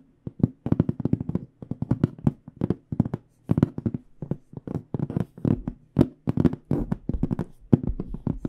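A medium AKG hard carrying case with an aluminum frame, metal corners and black panels, hollow and held against the chest, is tapped with long dark-painted nails and fingertips. Quick bursts of dry, hollow taps come in rapid clusters, mixing low, boxy thuds with short, sharp nail clicks. Each tap dies almost instantly, with brief pauses between the flurries.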